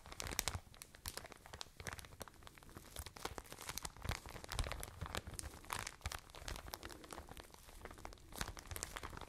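A soft white and blue plastic packaging bag full of cotton pads is squeezed, crinkled and scratched with long nails. Dense crinkling and crunching with sharp, bright scratchy ticks continues steadily throughout, over a soft low rustle, each sound dying away almost instantly.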